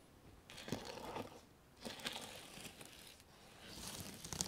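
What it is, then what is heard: Reversible sequin fabric. Fingertips and long nails brush and stroke across a flat sheet of reversible sequin fabric on a table, flipping the sequins so a patch turns from gold to white. Three swells of crisp, bright rustling and fine clicking scratches rise and fade, with quick ticks and little low-end weight.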